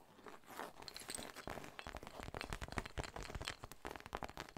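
Long nails scratch and tap a soft, hollow cream textured fabric zip pouch with a pink monogram, held in both hands, possibly near the zipper. The result is a dense run of dry, crunchy scratching and crinkling, broken by many quick, short taps that die away almost instantly.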